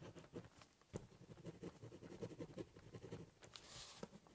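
A ballpoint pen doodles on the top of a large corrugated cardboard box, scribbling and cross hatching with scratching strokes. Quiet, dry, raspy scrapes come in short, quick bursts with a hollow low body, and a brief brighter hiss near the end.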